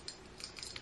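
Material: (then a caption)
Metal. Large croissant-shaped earrings, hollowed out so they are not heavy, are tapped, giving about four light, bright clinks with a hollow, slightly echoey tone. Each tap is short, with most of the sound high-pitched and very little low end.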